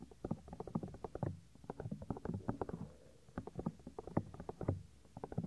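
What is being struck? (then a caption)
Silicone microphone ear. Fingertips rub and squeeze the small, solid, white soft silicone ear of a 3Dio binaural microphone. Rapid, muffled thumps and soft scratchy rubbing come in dense bursts, heavy in the low end with almost no high content, and pause briefly twice along the way.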